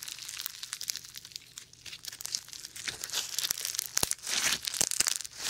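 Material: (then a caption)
Slime. Foam bead slime is stretched and then squeezed into a ring with fingertips close to the mic without touching it. Dense, bright crackling and crinkling pops burst from the beads in quick clusters, swelling and fading with each squeeze.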